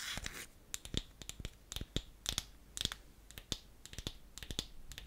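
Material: Wood.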